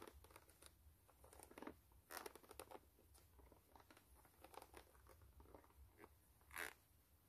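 Long nails scratch and tap the brown patterned rubber outsole of a white canvas low-top sneaker. The result is a quiet, steady stream of dry, bright scratching and short ticking taps over a faint low hum, with a few louder raps and one strong tap near the end.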